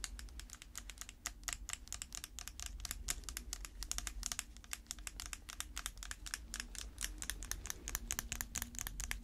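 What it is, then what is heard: Plastic slime container. Long red acrylic nails on gloved hands tap rapidly on a small round plastic tub filled with dark slime, with a printed lid. The result is a dense, continuous stream of sharp, bright plastic clicks over a steady low hum.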